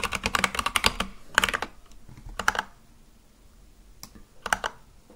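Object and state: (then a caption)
Mechanical keyboard with plastic keycaps. Fingertips type on a full-size Akko mechanical keyboard with white and light-blue plastic keycaps on a black case, giving fast, bright, clacky keystrokes centered around 1.5 kHz. A quick burst of keys is followed by shorter clusters and a pause, then a few last taps near the end before the typing stops.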